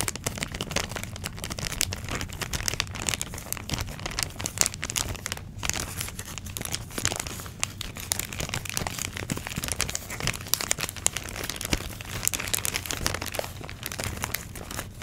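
Long pink nails crinkle and scratch a flat, clear thin plastic packaging bag holding orange foam pumpkin cutouts. A dense, continuous stream of bright, sharp plastic crackles and rustles, with many quick scratchy transients over a low, steady rumble.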